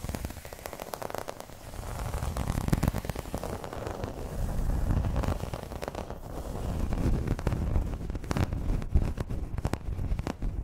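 Long red nails scratch across the surface of a flat, round, dark green embossed placemat, probably vinyl. The result is a dense, irregular, low-heavy crackling rasp with many quick scrapes that swell and fade in loudness throughout.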